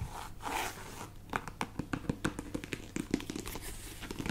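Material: Faux leather.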